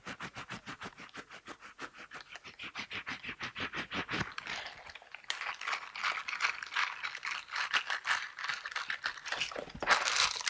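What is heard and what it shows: Silicone dishwashing gloves with bristles are worn on both hands, and the hands are clasped and rubbed together so the bristles rasp against each other. Quick, evenly spaced scratchy strokes come first, then merge into a denser, louder, continuous bright scraping and rustling.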